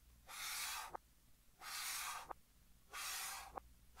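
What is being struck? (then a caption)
Chalk stick on a chalkboard. Fingertips hold a pink chalk stick and draw strokes across a large flat green chalkboard, played in reverse. Three long, bright, airy scratching swishes are heard, each ending in a short sharp tick, with a fourth stroke just starting at the end.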